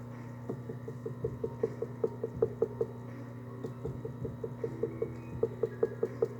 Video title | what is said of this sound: Beginner Wheel Throwing - Trimming a Bowl | my tapping sounds are very very consistent from the bottom to the top that's what I'm looking for